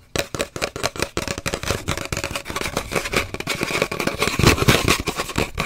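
Long nails rapidly tap and scratch an empty, hollow cardboard paper towel roll, first standing upright and then lying horizontal. The result is a quick, uneven stream of dry, hollow knocks mixed with bright scratchy rasps, each dying away almost at once.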